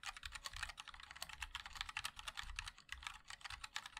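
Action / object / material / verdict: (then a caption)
tap / mechanical keyboard with plastic keycaps / plastic / none. Fingertips of both hands type continuously on a compact 60% MOD-L mechanical keyboard with a black case, white and black plastic keycaps and linear switches. About 27 quick, bright plastic clacks come in a steady run, each dying almost at once, with a soft low thump beneath.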